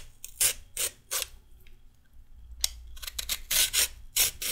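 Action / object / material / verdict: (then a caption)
scrape / raw carrot scraped with a metal peeler / carrot / none. A metal peeler strips a raw carrot into strips with a series of short, bright, raspy scraping strokes. The strokes come in a slow group, then a pause, then a faster run, each ending abruptly with no ring.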